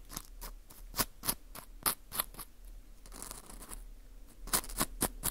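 A thin metal pick pokes and scratches inside the hole of a dry, porous dried wheat gluten ring (fu) held in a gloved hand. Sharp, bright, crunchy clicks and taps come quickly and die away at once, with a softer stretch of continuous scratching in the middle.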